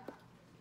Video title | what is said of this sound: Feldkamp Task 15 VM 212 | i can hear the sound kind of like a watermelon the hollow sound